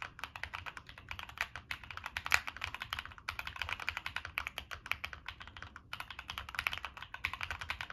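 Fingertips type steadily on a Monsgeek M1 mechanical keyboard with NK Cream switches, a dark metal case, and purple and black plastic keycaps. The result is a rapid, continuous stream of short, bright clacks that die away almost instantly, with very little low end and a few brief pauses.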